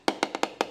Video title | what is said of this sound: Full Waste Hopper | it's totally Hollow if you had toner filled in there you'd have a much more like deeper Bassy sound to that